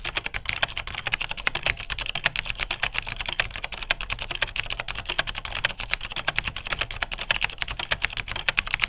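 A beige vintage full-size Unitek K-158 plastic mechanical keyboard with clicky Cherry MX Dark Blue switches is typed on steadily with the fingertips of both hands. A rapid, even stream of sharp, bright clicks with crisp, short-lived key strikes carries over a faint low thud from each keypress.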